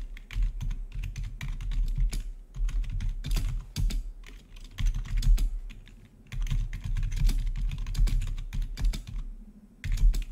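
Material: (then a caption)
Plastic. Rapid typing with the fingertips of both hands on a full-size black plastic membrane-style gaming keyboard with blue-to-red RGB backlit keys. The result is a steady stream of quick, dull key clicks and soft thuds with a low, boomy body, pausing briefly before resuming.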